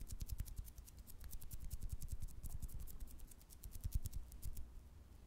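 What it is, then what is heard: Jelly candy tapped with fingertips and nails. Fingertips and nails tap and squeeze a small, soft, wobbly clear green jelly candy with colored fruit pieces inside, held close to the microphone. Rapid soft taps and squishes run continuously, with deep low thumps under each touch and faint bright clicks above.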